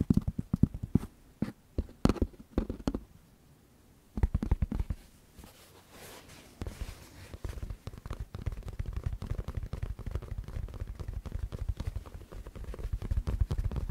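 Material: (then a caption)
Fabric. A white and black fabric baseball cap with a printed logo, a hollow crown and a stiff brim is held in both hands close to the microphone while fingertips and nails tap and scratch the crown and brim. Sparse, dull, low thumps and clicks give way after a brief pause to soft scratching, then a dense, rapid run of muffled taps and scrapes that grows louder toward the end.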